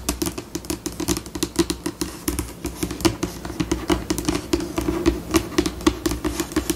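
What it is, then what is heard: Laminate tabletop tapped with fingernails. Long pink acrylic nails tap rapidly with both hands on a flat, solid, white glossy laminate tabletop. The result is a quick, uneven stream of sharp, dry clicks with a hollow tone around 320 Hz and bright tips, each dying away almost instantly, with the pace rising and easing throughout.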